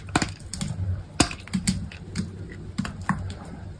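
A utility knife blade carves thin, curled shavings from a solid, hand-sized, cream-white bar of soap. It makes a series of short, crisp scraping clicks, each with a soft, low body and a bright tick that dies away almost at once. The quiet strokes come at an uneven, unhurried pace.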